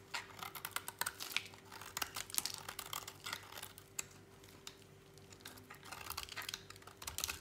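A utility knife blade slices and scrapes through a small remaining piece of dry, solid orange bar soap. The cuts make a rapid series of crisp, dry, crackling clicks that are bright and sharp, with no ring after each one. A faint steady hum runs underneath.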